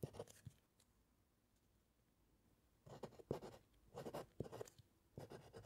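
A metal fountain pen nib scratches across a white paper sheet resting on a solid wooden clipboard during steady handwriting. Short bursts of dry scratching open the clip, then a near-silent pause of about two seconds, followed by several more clusters of soft, papery strokes with a low, muffled body.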